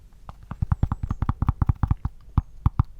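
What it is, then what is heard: Cork pencil holder, solid bassy tap. A cork pencil holder is tapped and scratched, giving about sixteen quick, irregular taps. Each tap is short and bassy, with a low thump and almost no high end, and dies away almost at once. The sound is deep yet solid and clearly defined rather than a vague rumble.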